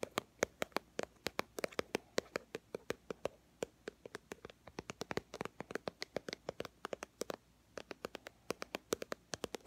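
A small white and teal plastic BB cream squeeze tube, held in both hands, is tapped with long fingernails in a quick, steady stream of sharp, dry clicks that fade almost instantly. Each tap has a hollow plastic tone around 500 Hz with a bright edge, and there is a brief pause near the end before the tapping resumes.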